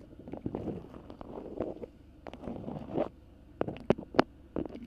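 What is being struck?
Beeswax-coated cotton food wrap.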